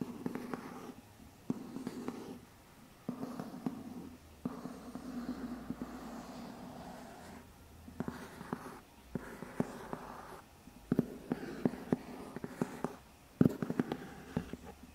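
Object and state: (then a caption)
Cardboard box. A medium, hollow white lidded cardboard box is held up while fingertips scratch and tap its side. Bursts of soft, dull scratching with a low hollow resonance alternate with short pauses. Quick, sharp taps cut through, dying away almost at once, with one louder tap near the end.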